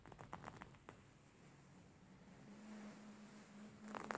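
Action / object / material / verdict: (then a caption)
scrape / embroidered linen pillow / linen / none. Hands scratch, squeeze and massage a beige embroidered linen pillow with stitched fabric. Quick, dry scratching bursts at the start give way to a soft, steady rubbing with a faint low hum. A second flurry of brisk scratches comes at the end.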